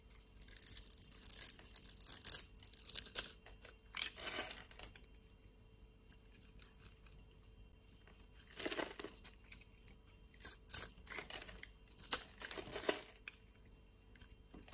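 A utility blade scrapes and shaves small cubes off the grid-scored surface of a hand-sized, solid blue soap bar held in the palm. Bursts of crisp, bright scraping and crumbling come in separate clusters, with quiet gaps between strokes. The sound is dry and high with almost no low end.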